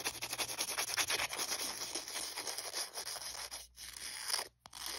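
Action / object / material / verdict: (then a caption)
scrape / emery board nail file / abrasive board / none. Fingers and nails scratch and rub the abrasive surface of a thin, flat, dotted white emery board nail file, held close. A dense run of bright, gritty rasping strokes continues almost without a break, with two brief silent gaps near the end.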